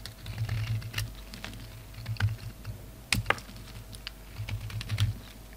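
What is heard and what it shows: A utility knife blade shaves a solid red and grey bar of soap in many short scraping strokes, leaving crumbly shavings. Each stroke makes a quick, dry, crisp scrape with bright ticking edges over a low, steady hum.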